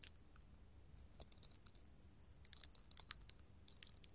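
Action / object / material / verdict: tap / small hobnail glass cup tapped and scratched with metal claws / glass / none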